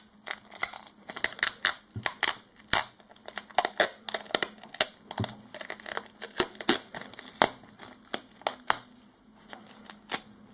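Fingertips in disposable latex gloves squeeze, rub and press a short, thin, flexible strip of black cloth-backed duct tape folded over on itself, possibly with some added glove rubbing. Dozens of quick, bright, sticky crackles and crinkles sound in irregular bursts, each dying away almost instantly over a faint, steady low hum.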